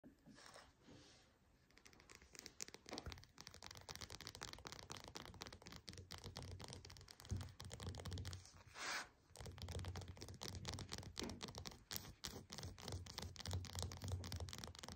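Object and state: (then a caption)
Whole orange, tapped and scratched. Long painted nails tap and scratch the peel of a whole, solid orange resting on a desk mat. The sound is a quick, irregular run of small crisp taps and scratchy scrapes, with a soft low thump under many touches and a brief quieter stretch at the start.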